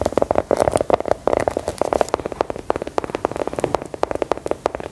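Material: Biscuit.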